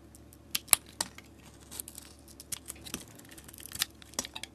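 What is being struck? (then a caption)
Bar of soap cut with a metal blade. A metal utility blade held in a long-nailed hand shaves strips off a solid soap bar with a painted marbled coating and a pale yellow interior. The result is a quiet series of crisp, bright scraping and crackling snaps that die away instantly, with very little low end.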